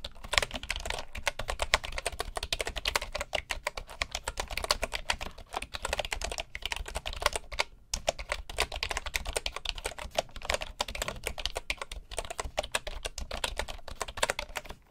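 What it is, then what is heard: Wooden keyboard typing. Fingertips of both hands type steadily on a full-size bamboo computer keyboard with wooden keycaps and a hollow housing. Dense, rapid, bright clicking taps run continuously with a brief pause near the eight-second mark.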